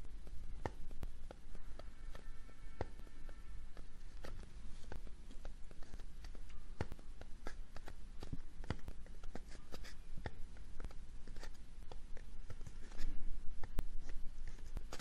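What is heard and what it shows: Fingertips and nails scratch and tap a small, hollow, brown kraft-paper cardboard box held beside an ear-shaped microphone. The result is a quick, irregular stream of dry, short, papery taps and scratches with a low, hollow body, growing slightly louder near the end.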